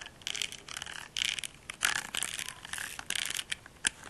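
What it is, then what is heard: Silicone facial cleansing brush. A small pink silicone facial cleansing brush with a bristle-textured face is held close to the mic while fingernails scratch and rub its silicone nubs. The result is a series of dry, crackly, bright scratching bursts with almost no low end and no ring between strokes.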